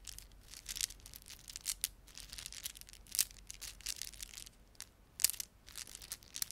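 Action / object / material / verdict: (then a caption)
scrape / plastic beaded ornament / plastic / none. A plastic beaded ornament is rubbed and squeezed between fingertips. Quiet, bright crinkling and rapid clicking rustle on and off, with a few sharper, louder clicks standing out. There is almost no low-end body.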